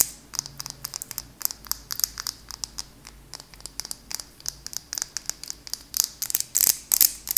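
A small glass candle jar with a purple label, holding solid wax, is held up and tapped with long acrylic nails on the glass and lid. Quick, sharp, bright clicks and ticks come in an uneven, rapid flurry with almost no low end, dying away instantly. The tapping grows denser and louder toward the end.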